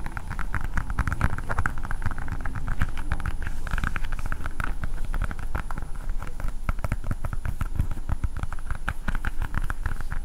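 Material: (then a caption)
Plastic. A hand-sized hard blue plastic ball with a Spider-Man sticker is tapped quickly with long painted nails. The result is a steady stream of rapid, crisp clicks over a dull, low thumping body, with each tap dying away almost at once.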